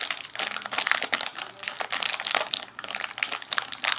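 A small sealed Oreo pack full of biscuits, wrapped in crinkly plastic film, is held in both hands and squeezed and crinkled with the fingers and fingertips. It gives a continuous bright crackling with dense, sharp crinkles that swell and fade in bursts, with almost no low end.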